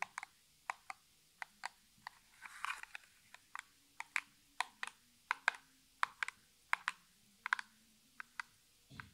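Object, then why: Small printed cardboard box. Fingertips and natural nails of one hand tap the flat side of a small, hollow, printed cardboard Essie nail polish box held in the other hand. About 27 short, dry, bright taps come in an uneven rhythm, each dying away almost instantly. A brief soft rustle is heard partway through.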